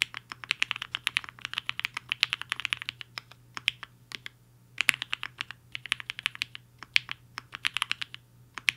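Fingertips of both hands type fast on a compact mechanical keyboard with a black case and white and pink plastic keycaps, resting on a desk mat. Rapid bursts of short, bright plastic clacks centred near 2.7 kHz come in runs, with brief pauses between them.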